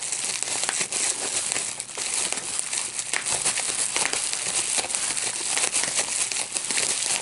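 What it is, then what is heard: Plastic bubble wrap. A clear plastic bubble wrap sheet with small air-filled bubbles is gathered in both hands while fingertips pinch and pop the bubbles. The result is a steady, dense stream of bright, sharp crackles and crinkling with almost no low end, the pops running together without a break.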